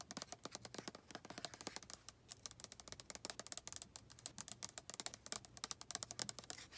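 Long nails tap and scratch the label and the plastic of a white plastic lotion bottle, making a rapid run of quick, dry clicks and scrapes. The sound is bright and thin, with little low end, and each tap stops almost at once.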